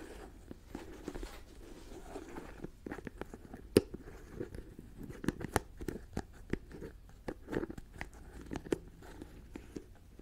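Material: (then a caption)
Plastic. Long dark fingernails tap, scratch and twist the white plastic screw-on lid of a medium jar filled with a pale granular substance. Short, sharp clicks and crunchy taps sound over a soft scratchy rustle, each dying away almost at once.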